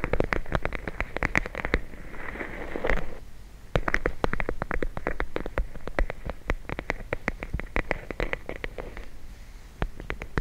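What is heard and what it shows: A full plastic bag of gel beads, held in the hands, is tapped and squeezed with the fingers and nails. Quick, sharp, dull taps patter in rapid bursts, mixed with soft, crackly squishing as the bag is squeezed. There are brief quieter pauses before the tapping resumes.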